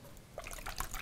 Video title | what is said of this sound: How to make Wood Rings - bent veneer w brass Zelda Triforce inlay | It is really fluid. You can hear it sloshing around.